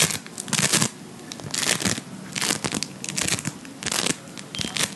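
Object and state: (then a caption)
Bead foam being squeezed. Fingertips squeeze, knead and pull apart a hand-sized lump of soft, solid blue Playfoam, made of foam beads in a sticky binder. It gives bright, dense crackling in repeated bursts, separated by quieter stretches of fine crinkling.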